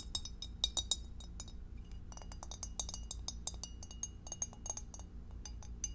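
Long acrylic nails tap rapidly on the walls and bottom of a clear, empty, hollow rectangular glass divided food container held in both hands. Dozens of short, bright clinks follow one another in quick, uneven bursts, each dying away almost at once over a low, steady background hum.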